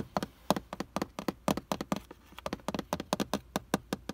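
Fingertips and nails tap and scratch the clear plastic lens over a car's tachometer and speedometer gauges, in front of a hollow housing. A quick, uneven series of short, dry clicks with almost no ring, each with a low hollow body around 200 Hz.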